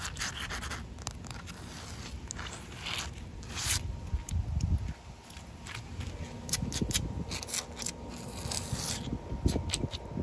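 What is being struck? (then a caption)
Outdoor concrete slab. Short nails and fingertips scratch across a large, solid outdoor concrete slab with wet patches. The result is a close, gritty rasping with bright, sharp scrapes over a low rumble, and a faint steady tone runs underneath from about four seconds on.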